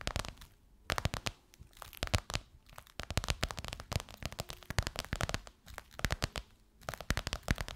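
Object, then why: Crocodile-embossed faux leather pillowcase over a soft pillow. Long white nails tap and scratch across the top and edge of a gold crocodile-embossed faux leather pillowcase over a soft pillow. Dense bursts of sharp, dry clicks and crackling scrapes come in clusters separated by brief quieter gaps. Each tap is short and thuddy at the low end, with no ring.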